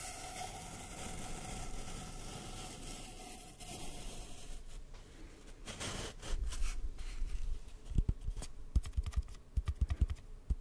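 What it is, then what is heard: Empty cardboard tube. An empty, hollow brown cardboard tube, held diagonally close to the mic, is tapped quickly with the fingertips. Soft, steady rustling gives way to quick, dull, low hollow thumps that grow louder and more spaced toward the end, each dying away almost at once.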